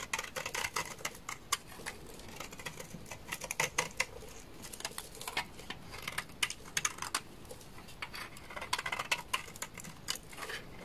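A utility knife blade scrapes a hand-sized solid orange bar of dry laundry soap, sending shavings falling. The sound is a steady stream of quick, bright, crisp scratches and clicks with no ringing, over a quiet low background.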